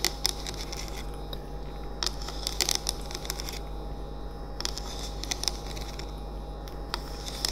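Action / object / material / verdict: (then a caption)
tap / bamboo-look plastic oil diffuser / plastic / none. A running, lit, hand-sized hollow cylindrical essential oil diffuser with a bamboo-look body and a plastic lid sits on a wooden table and is tapped on its sides with the fingertips and nails of both hands. Short, bright, dry clicks and taps come in scattered bursts over a steady low hum from the running diffuser.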